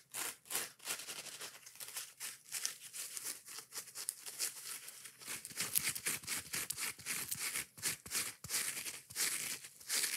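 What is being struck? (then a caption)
Foam kitchen sponge with scouring pad. Long nails scratch and rub the surface of a yellow porous foam kitchen sponge with a green scouring pad, in close-up. The result is a quick, irregular series of dry, crackly, bright scratching bursts, like crinkling or tearing, with almost no low end and no ring after each stroke.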